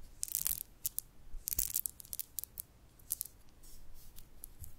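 Long painted nails pick up, roll and rub about twenty small, solid nacre freshwater pearls held loose in an open palm, tapping and clicking individual pearls lightly against the others. Quiet, dry, bright clicks and rustles come in quick clusters with no ring, over soft low handling noise.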